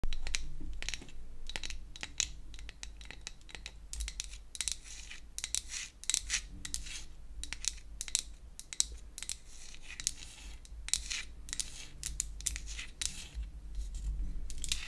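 A small pink-painted wooden toy hair dryer made of solid flat wood pieces is held in the hands and scratched and tapped with long acrylic nails. Rapid, dry, bright clicks and scratchy taps come in dense bursts with almost no ring, over a steady low rumble.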